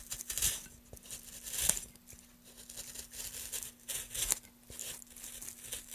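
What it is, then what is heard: Softwood board being carved. Gloved hands carve the top face of a solid pale softwood board, about 30 cm long, resting on a dark surface with shavings, using a small gouge to scrape and cut long shavings. Quiet, bright, crisp tearing and scraping strokes rise and fade in bursts, with occasional sharper catches of the blade and a faint steady low hum underneath.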